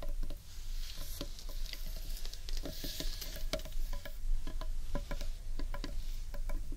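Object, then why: Underside of a large carved wooden bowl. Long nails tap and scratch the underside of a large, hollow, carved wooden bowl. Quick, dry clicking taps with a short hollow knock sit over a steady scratchy rustle and a low rumbling floor.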